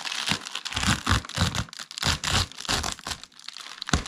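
Yellow rubber-gloved fingers peel and tear open the flap of an Amazon Prime plastic padded mailer bag, crinkling the plastic film. Repeated bright, crackly bursts of crinkling and ripping come in quick succession, with a low, dull rumble underneath each handling.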